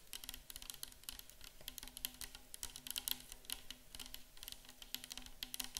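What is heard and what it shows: Long acrylic nails on both hands tap and lightly scratch a 500 ml clear plastic bottle nearly full of micellar water, a hollow container. The result is a rapid, dense stream of crisp, bright clicks and scratches, each dying away almost instantly, over a faint steady low hum.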